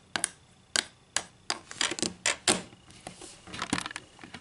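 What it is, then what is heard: Wooden ruler. Long green acrylic nails tap on a flat, solid wooden ruler lying on a table. The taps come as a series of sharp, bright, dry clicks, some spaced apart and others in quick clusters, each dying away almost instantly with very little low end.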